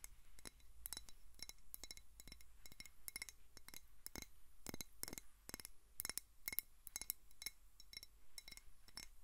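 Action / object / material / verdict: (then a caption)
tap / glass water bottle partly filled with water / glass / none. Long nails tap rapidly and irregularly on a clear glass water bottle with a white plastic cap, partly filled with water. Each tap is a short, bright glassy click or clink that dies away almost instantly, over a quiet low background rumble.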